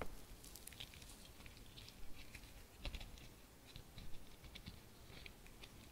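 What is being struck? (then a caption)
Embroidered fabric-covered bauble. Long fingernails scratch and tap the surface of an embroidered, fabric-covered Christmas bauble decorated with studs and a ribbon, held in both hands. The result is a quiet, irregular patter of soft scratching with short, bright clicks over a low, muffled rumble, with a few slightly louder taps standing out.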